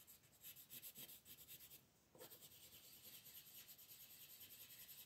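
A wooden colored pencil rubs and scratches brown shading onto the antlers drawn on a thin white paper coloring sheet, which rests on a wooden table while the other hand holds it. Quiet, bright, papery scratching comes in rapid back-and-forth strokes. It pauses briefly just before the 2-second mark, then resumes as steady shading to the end.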